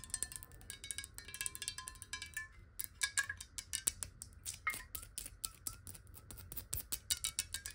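Long nails tap fast on a clear square glass bottle of water held sideways, making a quiet stream of sharp, bright clicks. Faint ringing glassy tones sit under the taps and shift slightly in pitch as the water moves. Each tap dies away almost instantly.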